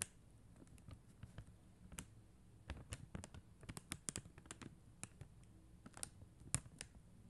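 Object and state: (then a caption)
Acrylic rhinestone sticker sheet. Long acrylic nails tap the gems on a flat acrylic rhinestone sticker sheet, plastic rhinestone stickers on a white backing. Seventeen short, dry, bright clicks come at an uneven, gentle pace, with no ring after each tap, over a quiet low hum.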